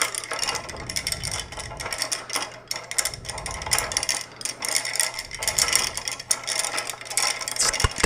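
Fingertips flick and slide several solid wooden (or wood-look) curtain rings along a ribbed wooden curtain rod, producing rapid, bright clacking and rattling. The clicks come in quick, uneven bursts throughout, over a faint steady low hum.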